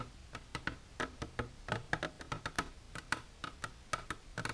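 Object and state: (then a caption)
Empty hard plastic container. Long silver nails tap the sides of an empty, transparent hard plastic container standing upright, making about twenty quick, dry clicks in an uneven rhythm. Each tap is short and bright with almost no ring, centered around 1.6 kHz over a faint low background.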